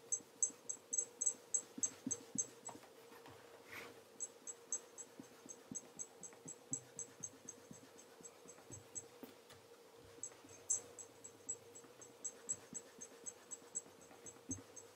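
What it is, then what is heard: Leather loafer being polished. A black leather tassel loafer is held in one hand while its toe is polished by rubbing with cloth-covered fingertips. Quick, bright, squeaky rubbing strokes come in bursts over a faint steady hum, with a short pause midway before the strokes resume.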